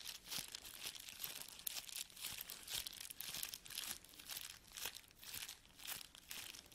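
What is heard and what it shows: A clear plastic sheet of empty bubble wrap is held in the hands and squeezed, crinkled and rubbed with the fingers. It gives bright, hissy crinkling with bursts of crackle that swell and fade in uneven waves. There are no low-end thumps and no ringing.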